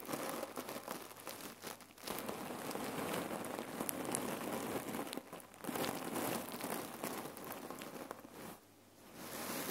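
Long nails scratch and fingers squeeze the sides of a folded rectangular red cotton neck warmer pillow filled with cherry pits. The result is a dense, continuous, crinkly rattle of shifting pits, broad and bright, that drops off briefly around 2, 5.5 and 8.7 seconds before resuming.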